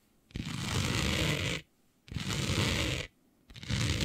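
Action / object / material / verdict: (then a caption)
scrape / printed fabric sheet / fabric / none. Long nails on both hands scratch back and forth across a flat sheet of dark fabric printed with planets. There are three bursts of rough, dense scratching, each about a second long, with short silent gaps between them. The texture combines a low, papery rumble with a bright, hissy grain.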